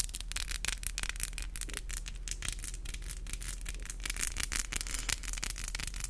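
Long, black, glossy acrylic nails with hollow tips are tapped and rubbed against each other with both hands close to a microphone. Quick, bright clicks come in rapid, uneven bursts over a dry, scratchy rubbing texture, with a steady low hum underneath. Each tap stops dead with no ring.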